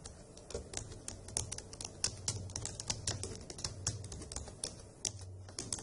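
Long acrylic nails and fingertips type on the hollow key caps of a dark grey plastic laptop keyboard, producing rapid, uneven bright clicks and clacks. A steady low hum runs quietly underneath the continuous tapping.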